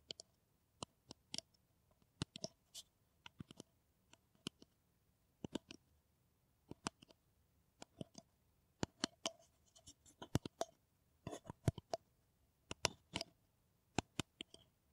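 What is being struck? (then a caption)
Paper coffee cup. An empty, hollow brown paper coffee cup is held in both hands and tapped and scratched with long nails. Quiet, dry, clicky taps come in a steady, irregular series, each with a hollow midrange tone around 640 Hz and a bright scratchy edge. The taps die away almost instantly, with short scratching passages between them.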